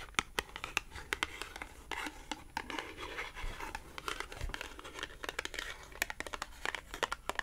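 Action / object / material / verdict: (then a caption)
tap / small thin cardboard tag / cardboard / none. A small, thin, flat green matte cardboard clothing tag is scratched and tapped with long acrylic nails. Quick, bright clicking taps scatter irregularly over a soft, papery scratching rustle. Each tap is dry and stops almost instantly.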